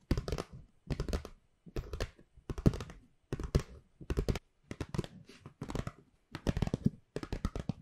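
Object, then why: Paper gift bag. A hollow white paper gift bag with black handles is tapped and scratched with long pink nails. Short bursts of dry, crisp tapping and scratching come in irregular clusters, low and thumpy with bright, papery crackle, and each burst stops quickly.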